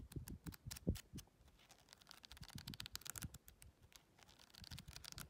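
Long red nails riffle and flip through the paper pages of a small paperback colouring book. Quick, crisp papery flicks and soft low taps come in a fast, uneven run, with bright rustling scratches between them. It is quiet and close, and each flick dies away almost at once.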